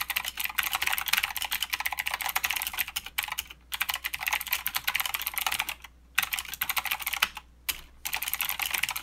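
A mechanical keyboard with plastic keycaps and clicky blue switches is typed on with the fingertips of both hands. The result is a rapid, bright clatter of sharp, short key clicks, broken by a few brief pauses.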